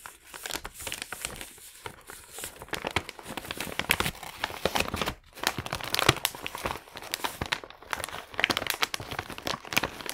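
The fingertips of both hands fold and rub the top flap of a small, empty, thin and hollow brown kraft paper bag. The result is a steady run of dry, bright crinkling and crackling with quick, sharp bursts and a brief lull around the middle.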